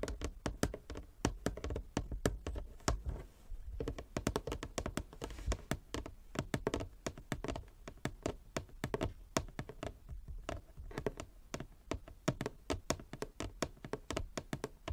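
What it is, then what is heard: Wooden chess board, tapped. A large inlaid wooden chess board is tapped rapidly by the long nails of both hands. The quick, dry taps have a low wooden thunk and a bright click, with almost no ring, in an irregular patter that keeps going throughout.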